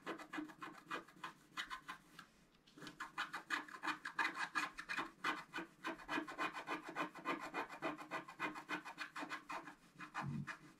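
A thin wooden stylus is scratched rapidly across a flat coated scratch-art card in dense, short strokes. This makes a steady, dry, bright rasping sound with a brief pause near the start before the quick scratching resumes.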